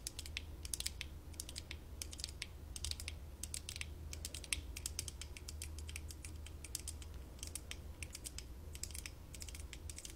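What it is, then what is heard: Plastic LED visor glasses. Long nails on both hands tap and scratch the side arms and the front lens of worn, light-up plastic LED visor glasses, which are thin-walled and hollow, while a fluffy microphone sits nearby untouched. The result is a rapid, steady stream of short, bright, dry clicks and scratches that fade almost instantly, over a constant low hum.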